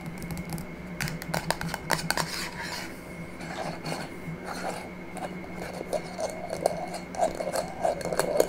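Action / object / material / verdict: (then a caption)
tap / small glass jar with metal screw lid / glass, metal / none. Long fingernails tap the metal screw lid and the clear glass sides of a small, empty glass jar held in the hand. The result is a run of quick, bright clicks and ticks with brief ringing, some louder than others, over a steady low hum.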